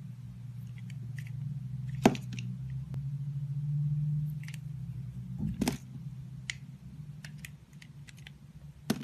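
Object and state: Bar of soap being sliced.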